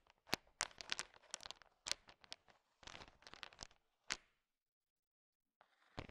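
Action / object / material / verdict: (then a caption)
scrape / bowl of sugar-shelled peanut chocolates stirred with a wooden stick / sugar shell / none. A heap of small, hard, sugar-shelled peanut M&Ms filling a bowl is stirred and tapped with a thin wooden stick. Bursts of crisp, bright clicking and rattling come in short clusters, broken by brief pauses and a longer quiet gap near the end.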